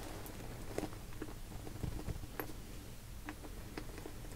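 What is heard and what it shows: Long painted nails and fingertips tap, scratch and squeeze a small translucent pink PVC cosmetic pouch with a purple zipper, hollow with some contents inside, working along the zipper and sides. Quiet, soft plasticky taps and short bright scratchy clicks come and go over a low, steady rumble.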